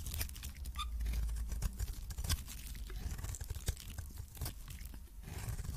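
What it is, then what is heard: Coated soap bar being scraped. A hand-held oval solid soap bar with a yellow coating and white interior is scraped with a metal blade, shaving off thin curls. Quiet, continuous dry scratching and crunching is heard, marked by many short crackling ticks and a low rumbling body with little brightness.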